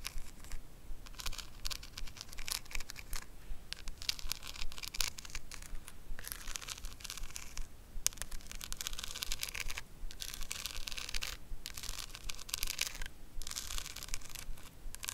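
A small square hand-held makeup compact covered in pink rhinestones, with a gold metal rim and a hollow, closed body, is tapped and scratched across its jewelled surface and edges by long acrylic nails. The result is a steady, fast run of dry, bright clicks and scratchy rasps with almost no ring. Short pauses break up the stream.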